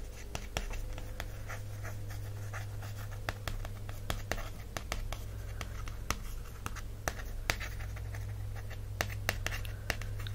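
Long-ish fingernails scratch and tap across the glossy printed cardboard cover of a small, solid, closed miniature hardcover book, "The Coffee Table Book of Coffee Tables," held in one hand over a fleece blanket. Soft, continuous scratching is punctuated by many short, sharp tap clicks over a steady low hum.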